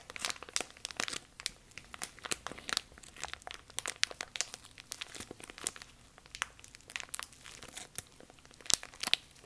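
A thin, clear, empty plastic bag is crumpled and crinkled between both hands up close, worked with the fingertips and long nails. It gives a steady run of bright, crisp crackles and sharp snaps with almost no low end, each crackle dying away instantly.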